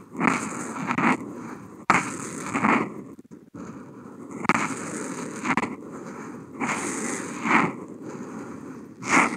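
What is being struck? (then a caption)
Felt-tip marker on a sheet of smooth drawing paper. The felt tip of a Posca paint marker, picked up by a contact mic on the marker, is drawn across a flat white sheet of Kent paper in continuous wavy strokes. The result is a dry, scratchy rasp that swells and fades with each stroke, with a few sharp clicks and brief pauses between the strokes.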